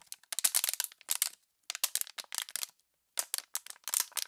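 An empty, clear plastic water bottle, partly crushed and hollow, is squeezed and crackled by hands with long pink nails. Dry, bright crackles and snaps come in four quick clusters separated by short silences, with no low end and almost no ring after each crack.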